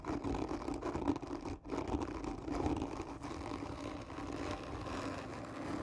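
Long nails scratch slowly and hard across a hollow black textured cardboard gift tube, seen from its end. The result is a steady, rough scraping with a hollow, resonant hum in the low-mid range, briefly dropping out around the 1.6-second mark before continuing.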